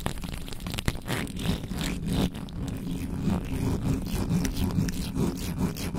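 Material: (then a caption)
Metal mesh. Long nails scratch and rub the top of a black microphone's bare metal mesh grille with both hands, slower and with fewer hits, over its hollow head. The result is a dense run of scratchy, crackling strokes with a heavy low rumble beneath, steady in level throughout.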